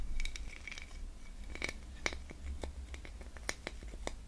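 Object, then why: Ridged plastic Christmas tree ornament. A small ridged, gold metallic-finish Christmas tree ornament, likely plastic with hollow ribbed tiers, is held in both hands and scratched and rubbed with fingernails along its ridges while other baubles sit untouched on the table. Quick, dry scratches and sharp ticking clicks come in an uneven run, with a faint ringing tone near 2.2 kHz. A steady low hum stays underneath throughout.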